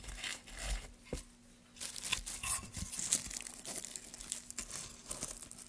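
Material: Pine wood.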